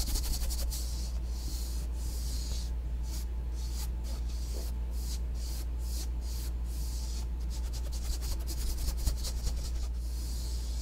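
A thin black plastic comb tail scratches and rubs the ribbed surface of a blue foam yoga mat rolled into a hollow tube and held close to the mic. Rapid, dry scratching strokes come in bursts of hiss, with a steady low hum underneath throughout.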